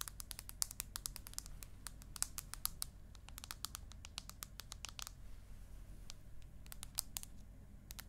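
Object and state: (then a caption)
Aluminium tablet back. Long acrylic nails tap and scratch the aluminium back of an iPad mini and its edges as the tablet is tilted at various angles. Rapid, sharp, bright clicks with almost no ring come in quick irregular runs, with brief pauses, over a faint low hum.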